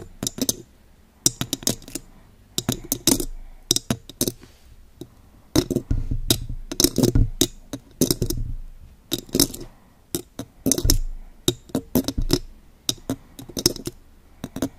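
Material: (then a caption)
Metal mesh. Very long gold pointed claw nail extensions on both hands tap and scratch the hollow silver metal mesh grille of a condenser microphone. The result is quick clusters of sharp, bright clicks with a low, thumpy body, separated by scratchy, rustling stretches.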